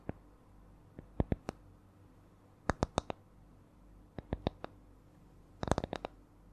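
Long nails tap and scratch a small, round, flat spiral coaster with concentric coiled rings that looks like light wood, held close to the mic. Short, dry, sharp clicks come in slow, uneven groups, some with bright tops, and the last group is a quick flurry. A quiet low hum sits underneath throughout.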